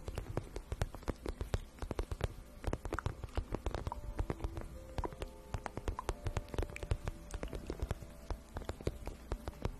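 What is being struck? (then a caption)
Vinyl pouch. A glossy pink vinyl pouch, hollow and apparently empty, is held in both hands and tapped and scratched with long nails. Dense, rapid, quiet taps and scratches patter continuously with a soft, low, hollow thump under faint crinkly clicks, each hit dying away almost instantly.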